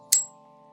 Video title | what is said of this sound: My Knife Collection - Early 2020 | It rings like a dinner bell when you flick it just a certain way.